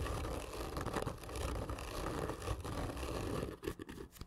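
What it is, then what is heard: Cardboard tube. Long fingernails on both hands scratch hard and slowly across the surface of a long, black, printed cardboard gift tube lying hollow on its side. The result is a dense, continuous rasping scrape with a low, hollow rumble from the tube. The scratching thins into sparse, quieter strokes near the end.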